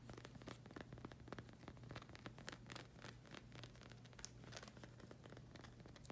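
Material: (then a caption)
Rubber. Long acrylic nails scratch and tap across the rubber sole of a flag-print slide sandal, and the strap is touched as well. It makes a quick run of dry, bright scratches and soft rustles over a steady low hum.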